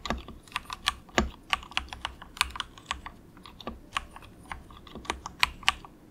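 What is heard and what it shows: A compact 68-key plastic mechanical keyboard with grey and orange plastic keycaps and a hollow plastic case is typed on with the fingertips of both hands in quick taps. About 20 short, bright, clicky keystrokes rattle out irregularly with very little ring.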